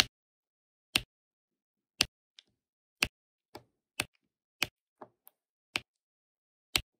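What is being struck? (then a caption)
Plastic drill pen placing resin drills on adhesive canvas. A hand with long nails uses a plastic drill pen to tap black resin drills onto the sticky corner of an adhesive diamond painting canvas. About a dozen sharp, bright clicks ring out in quiet, the louder ones roughly a second apart, with softer ticks in between. Each dies away almost instantly.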